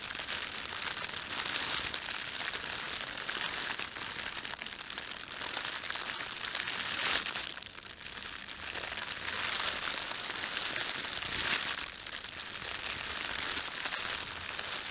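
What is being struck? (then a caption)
Thin plastic bread bag. Fingertips rub and crumple the film of an empty, thin, red printed plastic bread bag. A steady, bright, crisp crinkling runs throughout, with almost no low end, and eases briefly near 8 and 12 seconds before picking back up.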